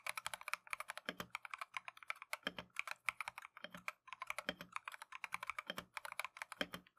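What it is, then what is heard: Mechanical keyboard being typed on. Gloved fingertips type continuously on a plastic Keychron V1 mechanical keyboard with Tangerine switches and green/cream Matcha PBT keycaps. The result is a rapid stream of bright, dry clacks, centered around 2.3 kHz with no ring. Deeper, heavier thocks land every second or so among the lighter taps.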